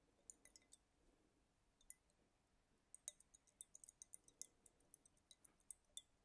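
A small clear glass dropper bottle filled with green liquid is held up in one hand and tapped with fingertips and nails. Quiet, bright clinks and ticks come in an irregular series, sparse at first and then denser. Each has a very short, high glassy ring.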